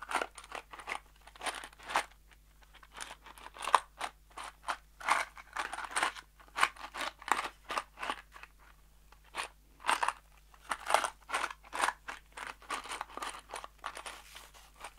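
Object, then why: Small cardboard box containing screws. A small kraft cardboard box holding screws is held in the fingers and shaken, producing dozens of short, crisp rattling crunches in quick uneven bursts over 15 seconds. The sound is dry and papery-bright, centered in the mids with sparkle up high, each burst dying almost instantly. A faint steady low hum sits underneath.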